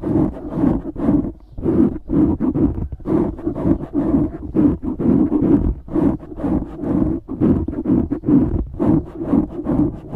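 Fingertips scratch and squeeze the sides of a black foam windscreen on a microphone. The result is close, muffled scratching and crunching in quick, uneven bursts, about two per second, heavy in the low-mids with little high-end content.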